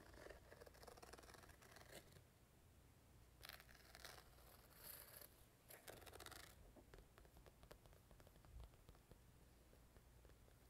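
Long painted nails tap and scratch the glossy top panel of a small, hollow purple quilted patent-vinyl zippered carrying case with black fabric sides, held in one hand. The sound is quiet, dense scratching and light tapping, with brighter, rougher scraping bursts partway through over a steady low hum.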